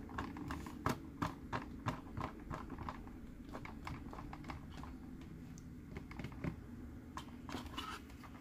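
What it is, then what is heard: Plastic character sipper cup. A green, hollow plastic Mike Wazowski sipper cup is held in both hands and tapped with fingertips and nails on its body and eye. The result is irregular, quick, dull plastic taps and clicks, with a few sharper, louder knocks, over a steady low hum.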